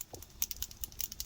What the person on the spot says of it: Hear that little ball in there, and that shakes it.